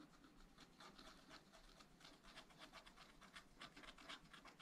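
A wooden stylus scratches flower details into a black wax-coated scratch-art page in a small spiral-bound pad of thin, flat paper. Quiet, bright, dry scratching strokes repeat at roughly four per second in an uneven rhythm, each short and rasping with a faint low rustle underneath.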